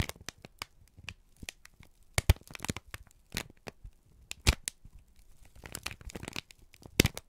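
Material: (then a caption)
Paper. A wrinkled, crumpled brown kraft paper strip is squeezed and crinkled by both hands. It makes irregular bursts of dry, bright crackling with brief, sharp snaps that die away almost instantly. Louder crunches stand out near 2.3, 4.5 and 7 seconds, separated by quieter rustling and soft low handling noise.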